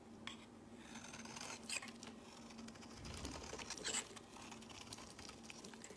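A metal box-cutter blade shaves fluffy curls off the edge of a pink, solid, rounded bar of soap held in the hand. The result is soft, quiet, crisp scraping and crackling with a bright, high hiss, with louder bursts near 1.7 and 4 seconds over a faint steady low hum.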